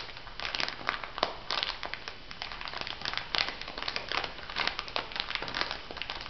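An elongated clear plastic packet filled with white granules is pressed and rubbed by fingertips and nails. Dense, bright crinkling and crackling runs throughout, with many short, sharp bursts and gritty granular rustle.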